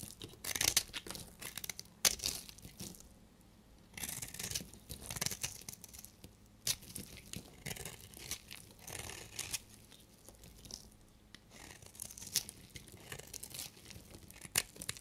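A solid, dried red bar soap held in the hand is scraped and shaved with a utility knife blade, breaking off crumbly flakes. Bursts of bright, dry scraping and crackling come in irregular strokes, with quiet pauses between them.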